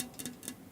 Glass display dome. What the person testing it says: it almost sounds like plastic it's so thin